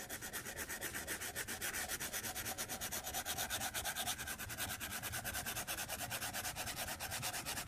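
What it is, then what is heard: Stylus on glass tablet screen. A white plastic stylus tip is rubbed back and forth in short shading strokes across the flat glass touchscreen of a tablet in a white case resting on a desk. It makes a steady, quick run of soft, dry, scratchy rubbing strokes with a bright, hissy texture and little low end. The strokes continue at an even level throughout.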